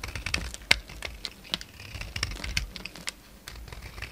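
A utility knife scrapes crumbly flakes off a solid oval bar of soap with a green outer layer and a white core, held in the hand. A rapid series of short, dry, crisp scratches and clicks sounds bright and close, with one sharper snap standing out near the start.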